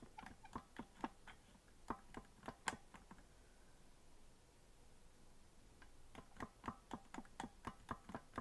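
Fingertips tap and press the white and black plastic keys of a green plastic melodica lying unblown on a white table, its hollow body giving short, dry clicks. The clicks come in two bursts separated by a quiet stretch in the middle, each click decaying almost instantly with a light knock around 900 Hz.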